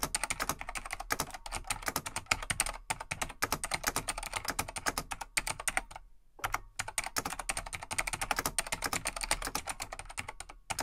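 Fingertips of both hands type steadily on a vintage full-size Laser XT/AT mechanical keyboard, a large beige plastic desktop board with light plastic keycaps. It produces a fast, continuous stream of bright, crisp plastic clacks with very short decay and a brief pause near the middle.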